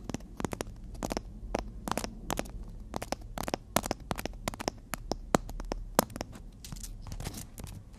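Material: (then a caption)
Emery board. A long, flat, solid black emery board nail file is held horizontally while long natural fingernails tap and scratch across its gritty face. Many sharp, dry clicks and short scratchy crackles sound in an irregular rhythm over a low rumbling background.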